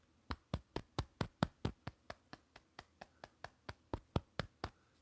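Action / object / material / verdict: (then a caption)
tap / giant sloth fossil tooth / fossil / solid. A giant sloth fossil tooth is tapped 20 times in quick succession, each tap giving a short, dull knock with almost no ring. The tooth sounds solid rather than hollow, heavy enough to weigh about a pound.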